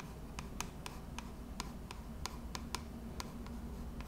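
Long red acrylic nails scratch and tap along a pink printed Twisted Peppermint plastic lotion bottle, hand-sized and hollow, held in both hands. Twelve short, bright, clicky taps land at uneven intervals, each dying away almost at once over a soft scratching texture and a steady low rumble.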